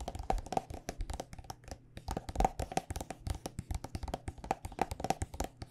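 Long nails tap rapidly and unevenly on a white plastic body butter squeeze tube filled with lotion. Each tap is a short, dry click with a faint hollow ring around 770 Hz over a soft low thump, and it dies away almost instantly.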